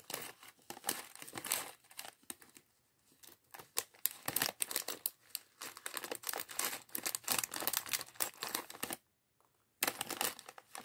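A small, thin, clear plastic bag of loose grey and colored LEGO bricks from the Chevrolet Corvette C8.R Race Car set 76903 is handled and squeezed by fingertips. It gives a dense run of bright, dry crinkling and crackling with faint clicks of the bricks shifting inside. The sound stops briefly near the nine-second mark and then resumes.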